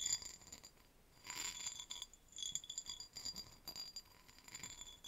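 A tall, hollow, empty cut-crystal vase on a stem is held in both hands and tapped and scratched with long nails, with rings on the fingers. Quick, bright glassy clinks and thin scratchy rasps come in clustered bursts with short quiet gaps. The sound is almost entirely high-pitched, with very short ringing and little low end.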